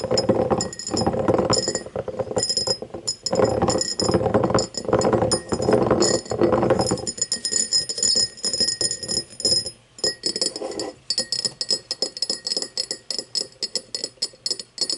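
Long nails tap and scratch an empty, hollow cut-crystal tumbler lying on its side, which is rotated to show its base. The first half is a dense, rustling scratch with a mid-pitched glassy tone around 530 Hz. It then gives way to quick, irregular taps with bright, short clinks that fade almost at once.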